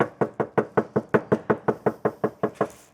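Fourteen quick, evenly spaced knocks on the untreated sheet metal door panel of a Mercedes C-Class, knocked again for comparison with the soundproofed door. Each knock gives a short, hollow, tinny ring centered around 420 Hz that dies away quickly, showing the panel is not soundproofed.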